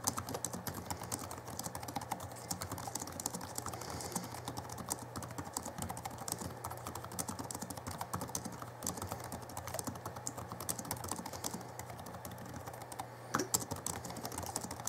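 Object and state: Plastic laptop keyboard being typed on.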